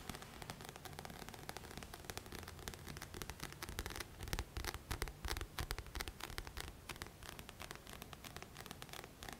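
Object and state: Paperback book with coated card cover.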